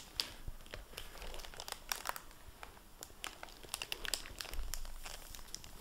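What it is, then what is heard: Plastic-covered book dust jacket crinkling. Fingertips handle the plastic-covered dust jacket flap of a hardcover library book lying open on a table. A rapid series of sharp, bright crinkles and crackles comes through over a low, steady rumble. The plastic covering makes strong, dry crinkling throughout.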